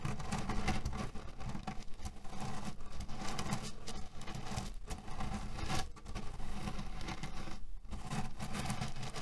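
Flat hands press and rub a cotton cushion filled with cherry pits, making a steady, dense rustling patter of shifting pits. The sound stays low and muffled throughout, with only brief dips between strokes.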